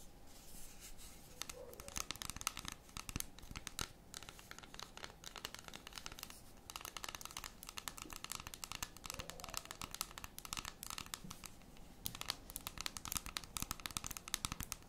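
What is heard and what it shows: Long red, metallic nails scratch and tap the top of a large, solid, unwrapped dark chocolate bar with segments, held in both hands. The result is a quiet, steady stream of crisp, dry clicks and scratchy rasps, bright and sharp, with no ring after each tap.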